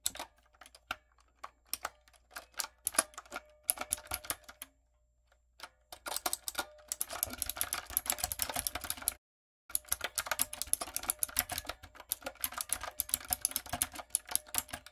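Someone types rapidly with fingertips and long coffin nails on a backlit, typewriter-style mechanical keyboard with round brown plastic keycaps on a dark frame. Bright, clicky key taps come in short bursts with brief pauses, then build into dense, continuous typing with one short silence near the middle.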